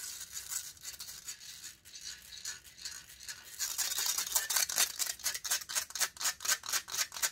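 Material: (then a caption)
Metal mesh. Long nails rapidly scratch the hollow metal mesh grille of a silver condenser microphone, making bright, hissy, high scraping with almost no low end. The scratching starts as a softer, continuous rasp, then after a few seconds becomes louder, distinct rhythmic strokes.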